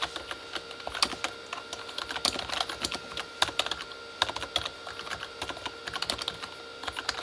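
Both hands type with their fingertips on a full-size, hollow Corsair K35 backlit mechanical keyboard with plastic keycaps on a plastic body. A steady stream of sharp, bright plastic taps and clacks comes in irregular bursts, each dying away almost instantly, with very little low end and a tone centered near 3.7 kHz.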